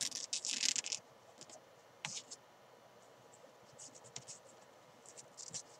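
Fingertips and long nails scratch and rub the green fabric side of a small, hollow, padded nylon climbing chalk bag lying on its side. Bright, dry scratching comes in short, uneven bursts, loudest in the first second, then softer rubs and scrapes trail off over a quiet background.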